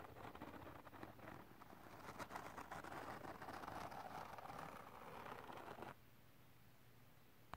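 A wide white plastic comb held in the hand rakes and scratches across a flat glitter cardstock sheet, making dense, rapid scratchy crackling centered in the midrange. The raking builds and holds steady for about six seconds, then stops abruptly, leaving faint background hiss and one brief click at the very end.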